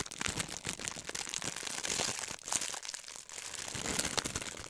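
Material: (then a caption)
Plastic. A thin, clear plastic film sheet is bunched in one hand and squeezed and crinkled with the fingers. Dense, bright crackling and snapping runs continuously for nearly five seconds, with very little low end and no ringing after each crackle.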